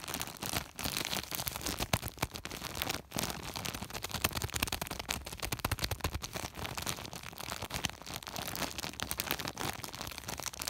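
Fingertips scratch and rub the woven surface of a large white woven polypropylene plastic sack with a flat hand. The result is a dense, continuous rustling and crinkling scrape, bright and hissy, with short gaps near 0.7 and 3 seconds.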